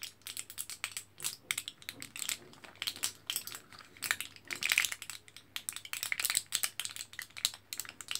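A fingertip and nail scratch and tap across the foil surface of a thin, orange printed foil-backed plastic blister pack with capsules sealed inside. The result is a dense run of quick, bright crinkly clicks and scrapes that die away almost instantly. There is almost no low end, and a faint steady hum sits underneath.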